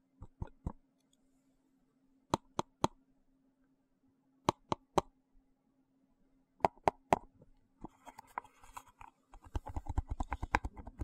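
Fingers tap and click at the lid of a small, hollow, translucent frosted plastic box held in the hand, giving four sets of three sharp, dry clicks with a hollow mid tone and almost no ring. From about eight seconds, the taps become quicker and irregular under a bright, scratchy rustle, over a faint steady low hum.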